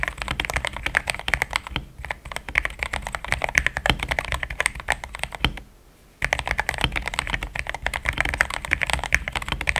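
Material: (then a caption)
Plastic. Fast fingertip typing on a compact pink-cased mechanical keyboard with solid, thick cream XDA plastic keycaps. It makes a dense stream of short, crisp key clacks centered around 2 kHz, with a brief pause just before the six-second mark before the typing resumes.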